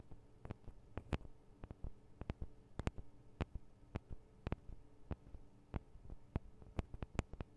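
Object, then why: Metal and plastic microphone capsules. Long acrylic nails tap and scratch on the sides of the two small hollow metal and plastic microphone capsules of a Tascam DR-40 recorder. About twenty sharp, dry clicks land in an irregular pattern, each dying away almost instantly. Soft scratching and a low, steady hum run underneath.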